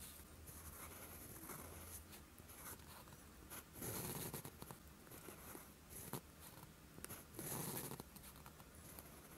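A steel fountain pen nib scratches across a flat sheet of lined writing paper, writing Korean letters in green ink. Soft, dry scratching strokes run throughout over a low steady hum, with louder, brighter bursts of scraping as the nib presses into longer strokes.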